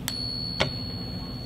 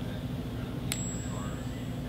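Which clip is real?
The first.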